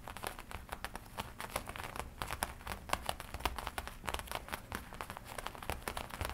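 Long nails tap and scratch the black leather front panel of a worn black and red studded leather biker jacket. The result is a quick, irregular run of sharp taps mixed with dry crinkling scratches, over a soft low rumble.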